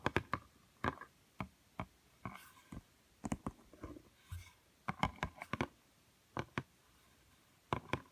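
Fingernails tap and scratch the glossy cream page of a small, thick, solid cardboard board book lying on a woven mat. Quick, dry, sharp clicks with almost no ring come in irregular bursts, mixed with a few softer, bright scratching strokes. The sound is quiet and close overall.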